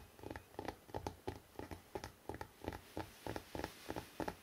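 Fingertips tap quickly on the cover of a hardcover book with a city photo on it, making soft, dull taps with a low thump. The taps come in quick pairs at a steady, fast pace, and each one dies away almost at once.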